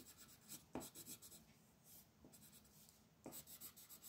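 A green wooden colored pencil scratches and rubs across a flat white paper sheet printed with a mandala, lying on a table, in coloring strokes while the other hand steadies the sheet. Soft, bright, raspy scraping comes in short bursts, with a quieter stretch in the middle before the strokes pick up again at the end.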